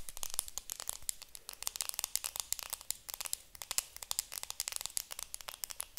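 Long nails tap and scratch the clear plastic film wrapped around a round makeup compact held close. The result is a rapid, uneven stream of sharp, bright crinkling clicks and rustles with almost no low end and virtually no ring after each tap, all at a quiet level.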